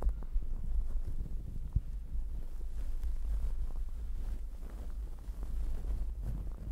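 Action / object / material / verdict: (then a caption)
scrape / fuzzy fabric microphone cover / fabric / none. Long acrylic nails scratch across a fluffy, glittery fabric towel covering a microphone, using one or both hands. The result is a continuous, muffled, low rumbling scrape with soft crackles and almost no bright content.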